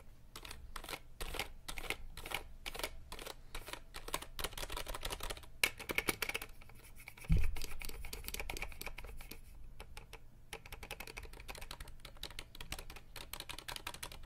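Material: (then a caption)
Plastic. Fingertips tap and scratch rapidly across the plastic keycaps of a compact RGB mechanical keyboard held to the side of the mic. Dense, fast, crisp clicks mix with bright scratchy rustling over a steady low rumble. A louder, deeper thump lands about halfway through.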